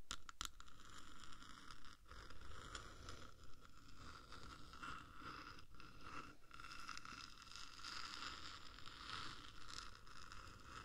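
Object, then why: Metal microphone housing. Long nails from both hands scratch slowly across the top of a hollow black metal 3Dio microphone case. The result is a continuous, low, rumbly scraping and rustling, with a steady tone near 1.3 kHz and faint bright streaks above it. A few sharp clicks sound near the start.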